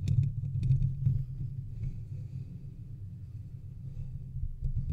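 Fingertips and nails scratch the metal mesh grille of a large silver metal USB condenser microphone on a stand, then move down to scratch its body. The result is a dense, low rumbling scrape with bright clicky ticks early on that settles into a steadier, quieter rubbing before a brief louder burst at the end.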